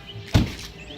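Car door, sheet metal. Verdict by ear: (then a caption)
Solid. A Volkswagen car door is shut, giving a single deep, solid thunk centered around 100 Hz that dies away quickly. It sounds more solid than a Subaru door, which is taken as a sign of better build quality.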